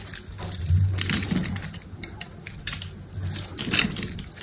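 An orange utility knife blade carves a solid green bar of soap held in the palm, scoring it and slicing off small cubes and shavings. The clip is a dense run of crunchy, crackling scrapes with bright, gritty edges over a soft low rumble. It swells and fades in waves as the blade pushes through the soap.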